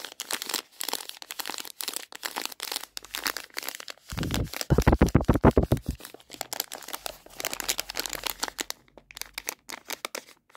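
Fingers with long painted nails crinkle and squeeze a Revels plastic bag full of chocolates, making a steady stream of bright, crackly rustles. Around the middle the squeezing grows louder and heavier, with deeper, fuller crunches, before settling back into lighter, rapid crinkling.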